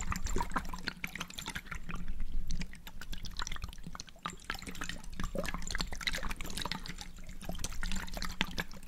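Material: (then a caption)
Glass. A small glass jar with a blue checkered lid, partly filled with water, is held up by hand, shaken and tilted. The water sloshes inside in a run of quick, bright splashes and drips over a low steady hum.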